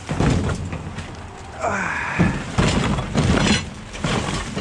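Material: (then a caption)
Metal. A plastic tote full of metal brackets is moved and shaken inside a dumpster. The brackets clatter and rattle with loud metallic jolts over a low, rumbling thud.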